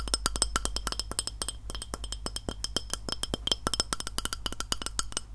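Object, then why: Glass plate. Fingernails tap rapidly and continuously on a glass plate, making a dense series of short, crisp clicks. Each tap carries bright, high ringing tones that die away almost at once, over a steady low hum.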